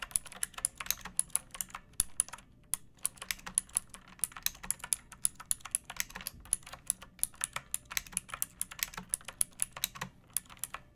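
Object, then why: Plastic mechanical keyboard. A second pink plastic mechanical keyboard with rounded keycaps, a metal top strip and a hollow case is typed on with fingertips and long nails. A steady run of quick, bright, clicky keystrokes with very short decay sits over a faint low hum.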